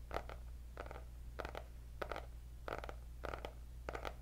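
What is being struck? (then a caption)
Hardcover notebook with cardboard cover. Long nails scratch and tap the cardboard cover of a white hardcover paper notebook with gold dots. Quick, dry paired taps come in a steady rhythm, each with a short scratchy rasp, over a constant low hum.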